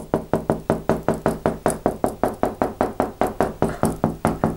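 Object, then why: Plastered interior wall. A flat, white-painted plastered interior wall, a large surface that may be hollow behind (plasterboard or lath and plaster), is knocked repeatedly with the knuckles of a closed hand. There are 23 dull, short knocks at a steady pace, each with a low, hollow-sounding tone near 390 Hz that dies away almost at once.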